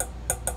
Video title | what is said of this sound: Chefs limited tea kettle review | this is all stainless steel as you can hear it's not plastic